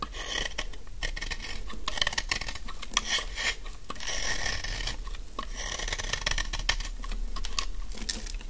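A utility knife blade shaves a solid, dry yellow bar of soap held in the hand, producing crumbly shavings. Dense, crisp rasping scrapes follow one another almost continuously, with bright crackly edges over a steady low hum.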